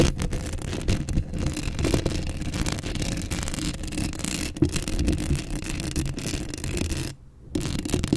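Long acrylic nails scratch continuously across the hollow steel mesh grille of a Blue Yeti microphone, right up close. The result is a dense, rumbling scrape that is heavy in the low end with a faint brighter hiss above. It breaks off into near silence for a moment around seven seconds before the scratching resumes.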